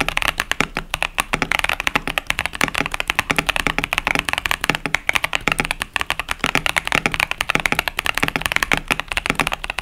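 Fingertips type steadily on a KBD67 Lite 65% plastic mechanical keyboard with Boba U4T tactile switches and pastel plastic keycaps. A continuous run of short, crisp, bright clacks and taps with almost no ring, over a faint low thump.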